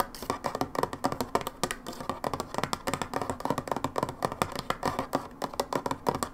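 Long nails tap rapidly on the plastic side of a brown plastic hydrogen peroxide bottle lying sideways, about forty quick taps in a fast, uneven stream. Each tap is a short, hollow click centered around 1.2 kHz that dies away almost instantly, with little low rumble.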